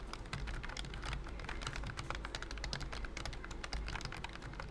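A pink and cream plastic wireless keyboard with round keys under a thin silicone key skin is typed on with fingertips in rapid, repeated taps. The clicks are soft and muffled and run steadily without pause, with a low thumpy body and only a little brightness.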